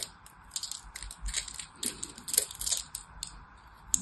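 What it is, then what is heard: Soap bar. A solid orange-and-white striped bar of soap is held in the hand while a small blade scrapes and cuts into it. The result is a quiet run of crisp, bright scratching and crunching bursts with no ring, over a faint steady hum.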